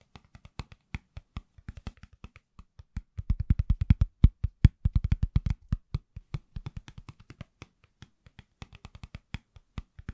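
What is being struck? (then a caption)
Silicone phone case on a phone. A pale green silicone/plastic case on an iPhone, hand-sized and solid, is held in both hands and tapped with the fingertips. The taps are quick, soft, dull thuds with a deep low body and almost no ring, coming in an uneven rhythm. They bunch into a faster, louder flurry in the middle before thinning back out to scattered taps.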